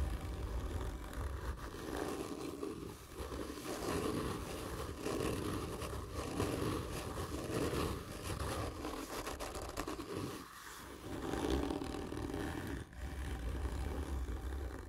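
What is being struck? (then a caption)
Cardboard tube. Long nails and fingertips of both hands scratch hard and slow across a hollow, black printed cardboard gift tube lying on its side. The result is a continuous dry, rasping scratch with a low, hollow body, swelling in repeated passes, with a brief lull near the end.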